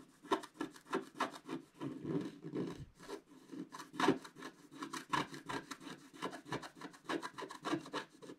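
A wooden stick scratches across the candy cane area at the top of a flat, black-coated scratch-art paper sheet held down by hand. The result is a quick, steady series of short, dry rasping strokes with a papery midrange body and brief brighter edges, each stroke stopping almost at once.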